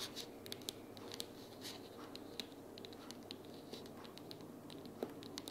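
Long purple natural nails tap and scratch along the sides and edges of a closed pink printed cardboard sticky-notes organizer box lying flat on a wooden table. Quick, bright, dry clicks scatter over a steady, soft scratching hiss, each tap dying away almost instantly. The whole clip stays quiet and close.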